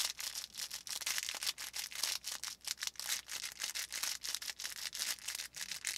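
Fingers squeeze and rub the felt surface of a small stuffed felt volcano plush with a faux fur top and crinkly filling, held in both hands. The result is a rapid run of bright, dry crinkling and scratchy rustles in short bursts, with almost no low end.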